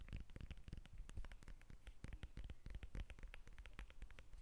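Long acrylic nails scratch and tap the rind of a whole yellow lemon held in both hands. The result is a quiet, fast stream of dry, crackly clicks and soft low thuds that die away almost instantly, sounding a bit like patter.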